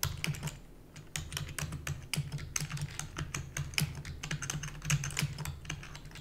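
Rapid typing on a full-size black plastic keyboard with hollow keys, tapped with long natural nails and fingertips. A fast, uneven stream of sharp, bright clicks with very short decay sits over a steady low hum around 150 Hz.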